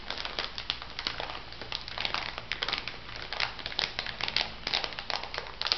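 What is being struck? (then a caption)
Plastic bag filled with salt granules. A small clear plastic bag full of white bath salt granules is pressed and rubbed by fingertips with long nails. It gives a steady run of bright, dense crinkling and gritty crunching with short crackly bursts. The sound stays high and crisp throughout, with only a faint low rumble beneath.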